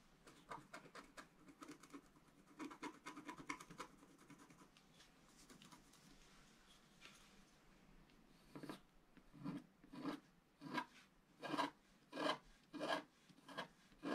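A wooden stylus scratches the lower right area of a black-coated scratch art paper sheet while the other hand holds it flat. Quick, dry scratching strokes come first, then a softer, hissy lull. Louder, separated bright scrapes follow at a steady, slightly uneven rhythm.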